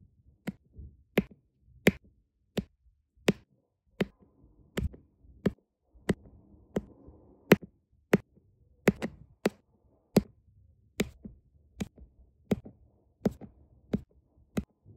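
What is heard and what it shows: A diamond-painting pen with a metal tip repeatedly taps small solid round resin drills onto a flat printed diamond painting canvas with a sticky adhesive surface. About 22 sharp, dry, bright clicks come at a steady pace, each dying away almost instantly, with faint low rustling between the taps.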